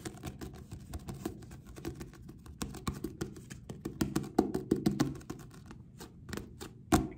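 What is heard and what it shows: Several fingertips with short nails tap and drum quickly on the back cover of a purple paperback book, a solid paper block with a glossy card cover, held close. About three dozen short, dull, papery taps with a low-mid body follow in a fast, uneven rhythm. They die away almost instantly, and a louder strike lands near the end.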